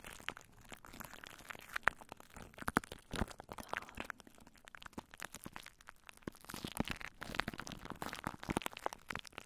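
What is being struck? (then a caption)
Plastic cling wrap over a microphone. Long nails scratch downward over clear, crinkled plastic cling wrap stretched over a microphone. The result is a dense, continuous run of sharp crackling and crinkling with very short, dry snaps and brighter bursts throughout.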